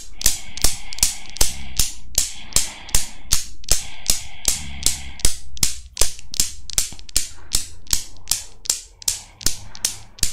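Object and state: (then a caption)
Chrome steel Newton's cradle. A desktop Newton's cradle with five solid chrome steel balls on a metal frame is set swinging with long nails, and the balls click against each other. Sharp, bright clicks repeat at a steady pace of about two to three per second over a low, steady hum, each click dying away quickly.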